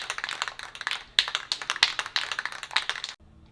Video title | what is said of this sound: Filler Primer [ 66 Buick Riviera ] Episode 41 | I just shake it until it feels like it's just real thin in there. Everything's mixed up good.